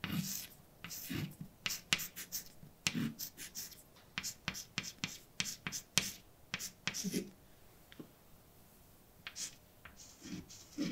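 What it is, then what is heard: Chalk writing on a blackboard. White chalk held in a hand scrapes and taps across a large, dark, flat, solid chalkboard while writing letters. About twenty short, dry, bright strokes and clicks come in quick bursts with brief pauses, with occasional duller low knocks under some strokes.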